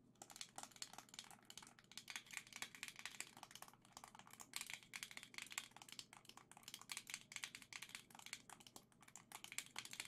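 A hand-sized Nintendo Switch Joy-Con grip, with a black plastic centre, gold Joy-Con controllers attached and a hollow plastic shell, is held up and tapped and scratched with long dark green nails. The result is a rapid, continuous stream of bright, dry plastic clicks and scratches that stop almost instantly, over a faint steady low hum.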